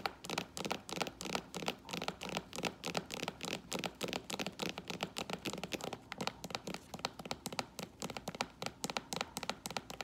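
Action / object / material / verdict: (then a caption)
tap / sandal with synthetic leather straps and sole / synthetic leather / none. Long orange acrylic nails rapidly tap and scratch the metallic rose-gold and silver faux leather straps and tan sole of a flat strappy sandal lying on a wooden floor. The result is a dense stream of short, crisp clicks and dry scratches with a bright edge and almost no ring.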